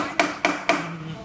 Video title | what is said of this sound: Glue-up of Footstool | that sounds solid too